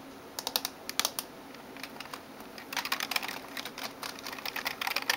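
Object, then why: Plastic computer keyboard. Fingertips and nails type on the keys of a backlit plastic gaming keyboard. Short, bright, clicky taps come in scattered bursts at first, then grow faster and denser from about 2.7 seconds. A faint steady high whine sits underneath.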